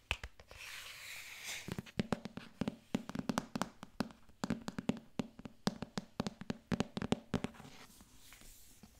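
A solid paperback book with a glossy paper cover, held in one hand, is scratched and tapped with long nails on its cover. A short, bright, rasping scratch opens the clip, followed by a long run of quick, dry taps with a hollow low knock that die away almost instantly. The sound fades back to faint scratching at the end.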